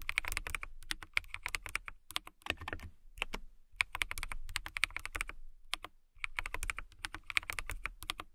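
Long nails type steadily on a transparent acrylic mechanical keyboard with clear keycaps, producing rapid, crisp, bright clicks that die away almost instantly. The bursts of typing come with brief pauses between them.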